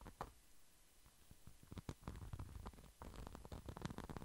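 A small flat red pouch with a glitter-coated surface is held close to the microphone and scratched with fingertips and nails. The scratching starts soft and grainy, then grows into a busy run of short, irregular scrapes and taps, each with a dull, low thump beneath a brief bright crackle.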